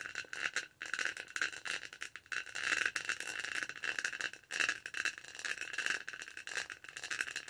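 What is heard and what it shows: A detached, textured purple plastic tumbler lid is held in both hands close to the mic while long nails scratch and tap its bumpy surface. The result is a dense, continuous stream of rapid, dry scratching and clicking with a bright, rattly edge and almost no low end. Each tap dies away almost instantly, and the scratching swells and dips in short bursts throughout.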